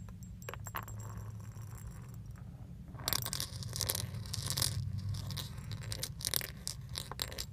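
Small solid metal leaf charms with a pink finish on a thin metal chain are pinched by the fingertips and shaken in front of a steering wheel. Light, bright clinks and scrapes come in quick, irregular bursts over a steady low hum, growing busier and louder after the first few seconds.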